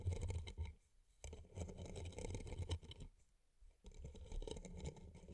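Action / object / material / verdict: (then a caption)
scrape / rhinestone-covered paper cup / rhinestones / none. Fingers and nails scratch and rub the rhinestone-covered sides of two identical hollow paper cups. Dense, crackly scratching and clicking come in three bursts separated by short quiet gaps, with a heavy low rumble under a fine bright glitter.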